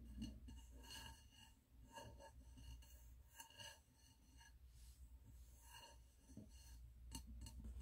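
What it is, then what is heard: Glass candle jar. Fingernails tap the glass side of a medium wax-filled glass candle jar with a red label and gold lid, held in hands. Quiet, irregular light clicks repeat at a quick pace, each with a short bright glassy ring over a steady low rumble.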